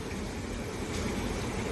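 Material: Nothing is struck.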